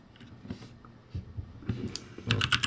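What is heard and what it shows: Fingertips press the keys of a ROCCAT G65 full-size backlit mechanical keyboard, with plastic keycaps over a metal plate and hollow switch housings, in fast typing strokes. Short, sharp clacks combine a low, hollow thud with a bright click, and they grow louder and denser toward the end.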